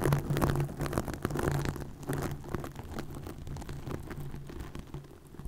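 Long nails scratch across green plastic mesh netting stretched over a microphone. The result is a dense, crackling, rustling scrape with quick irregular strokes over a steady low hum, loudest at the start and gradually fading.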